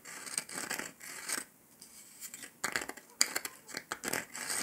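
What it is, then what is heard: Dalgona sugar candy, hard and brittle. Fingertips and nails tap and scratch the surface of a round, flat, golden dalgona honeycomb sugar candy disc, solid and brittle. Quiet, bright, dry scratching and clicking come in short bursts separated by brief pauses, with almost no low end and no ringing after each touch.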